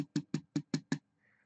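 Six quick taps land on a thin embossed tin panel backed with urethane foam, each giving a short, dull, low thud with little ring. They test for thin or unfilled spots, and this spot sounds solid: it is filled and doesn't give when pressed. A faint, soft rustle follows after the taps.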